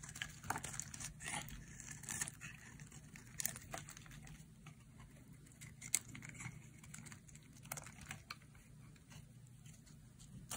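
A metal utility blade shaves thin curls from a solid, hand-sized, oval green-and-white bar of dry soap. Quick, irregular bright scraping and crinkling cuts come in short sharp bursts over a steady low background hum.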